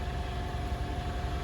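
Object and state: Nothing is struck.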